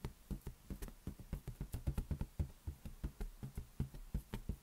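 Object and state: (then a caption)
Latex balloon tapped. An inflated lime-green latex balloon, hollow and air-filled, rests on one palm while the fingertips of the other hand knock and tap on it. Sixteen soft, dull, low thumps come in a steady, slightly uneven rhythm, each dying away almost at once with no ring.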